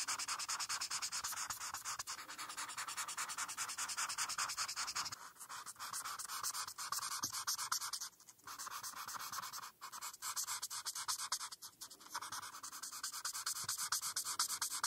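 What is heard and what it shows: A felt-tip marker is rubbed in short, quick strokes on a flat printed paper coloring page while coloring the rainbow bands. The result is a steady, bright, scratchy rubbing with almost no low end, broken by a few brief pauses near the middle before the strokes resume.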